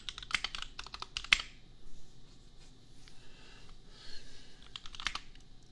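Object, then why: Mechanical keyboard with plastic keycaps. Fingertips type on a $250 compact custom mechanical keyboard with Gateron Milky Yellow switches and red and pink plastic keycaps. Quick bursts of sharp, bright clacks come at the start and again near the end, separated by a quieter stretch. Each keystroke stops almost instantly over a faint low background hum.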